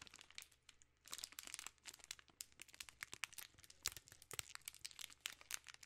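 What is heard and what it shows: A full king-size Reese's cups pack in a plastic film wrapper is crinkled with fingertips and long nails. Dense, bright, crackling crinkles come in quick, dry bursts with no ring, pausing briefly near the one-second mark before continuing at a soft, steady level.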